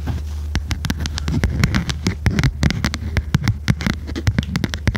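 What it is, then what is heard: Spiral notebook with stiff cover. Long red nails tap and scratch the stiff cover of a small red notebook with metal spiral binding, held in both hands. A rapid run of sharp, short clicks with bright edges is heard over a steady low hum, with soft scratchy rustling between the taps.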